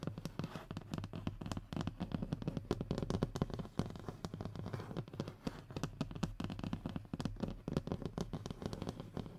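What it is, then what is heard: Hardboard panel. Short fingernails scratch across the surface of a thin, solid, flat brown hardboard (fiberboard) panel resting on a wooden table. The sound is a rapid, continuous run of short, dry, dull scratches and taps, weighted toward low tones with almost no bright content. Each stroke dies away almost at once.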